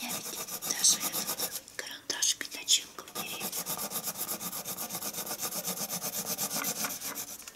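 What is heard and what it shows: A dark colored pencil quickly hatches across a flat sheet of white drawing paper resting on a wooden table. Bright, dry scratching strokes repeat in a fast, uneven rhythm, with a few sharper, louder scrapes early on before settling into steady rapid hatching.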